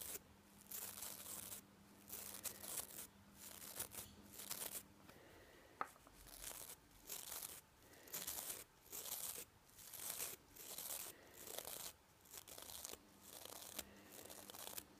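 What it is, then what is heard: Nylon toothbrush bristles. Fingertips and nails brush quickly over the nylon bristles of a manual toothbrush head, making short bursts of bright, scratchy rustling separated by brief pauses. The sound is quiet and mostly high-pitched, with a faint steady low hum in places and one sharp click near the middle.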